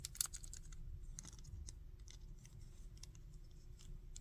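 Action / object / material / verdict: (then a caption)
tap / plastic action figure / plastic / none. Fingertips and nails tap and scratch the torso, legs and arms of a plastic Goku action figure held in the hand. It produces quiet, scattered, bright clicks and scratchy ticks with a sharper tap near the start, over a steady low hum.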